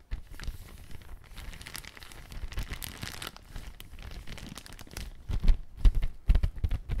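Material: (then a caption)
Plastic film. Fingertips press, scratch and crinkle the surface of a large, thin, empty clear plastic bag held up flat, making a soft, continuous crinkling rustle with bright edges. Over the last two seconds the handling grows louder, with sharper crunches and low thumps.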